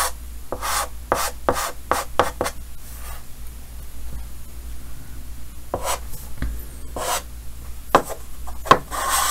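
Yellow chalk held in the fingers hatches and scratches across a large, solid, flat painted chalkboard in a green frame. Quick bursts of bright, raspy scraping come in clusters with quieter pauses between, ending in a longer, sustained scratch.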